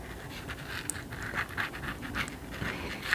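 A long nail taps and scratches along the embossed gold lettering on the cloth spine of a thick green hardcover book held up in the air. The sound is a quiet, dry, rhythmic scratching with soft mid-to-high rasps and a few sharper, brighter taps.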